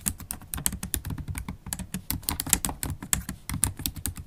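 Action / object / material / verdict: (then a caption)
tap / laptop keyboard with plastic keys in an aluminium body / plastic / none. Continuous typing on a MacBook Pro keyboard with black plastic keys in an aluminium body, done with long acrylic stiletto nails so the nail tips click against the keys. A rapid, uneven stream of short, sharp taps, each with a bright, high click on top of a soft, low thud, with very little ring between strokes.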